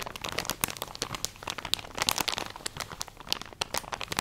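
A full plastic drawstring package of cotton pads is crinkled and scratched with long nails. Dense, bright crackling and crinkling with many sharp, short transients rises and falls in bursts, with little low end.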